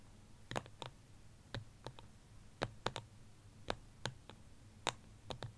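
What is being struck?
Small ceramic plant pot.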